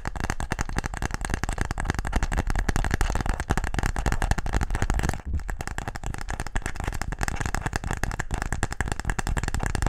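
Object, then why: Wooden game case. A wooden tic-tac-toe case is tapped quickly and aggressively, producing a dense, continuous stream of short, dry knocks with a heavy low-end thump and little brightness. The tapping runs steadily throughout, with only a brief pause just past the five-second mark before it resumes at the same pace.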